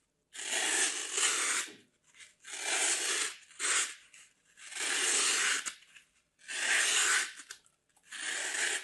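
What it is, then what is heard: Floral foam being cut. A metal craft blade carves through a large, solid chunk of dry green floral foam held in the hands, making long, bright, gritty scraping and cutting strokes as the crumbly foam gives way. Each stroke lasts about a second, with short quiet gaps and a few brief softer scrapes between them.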